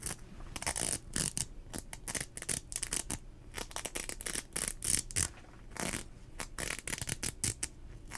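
Fingertips and nails rub, pinch and scratch the fabric and strap of a teal nylon rain jacket sleeve cuff worn on the arm, close to the microphone. Quick, uneven bursts of bright, crinkly swishing and scratching follow one another with brief quieter gaps, over a faint low rumble.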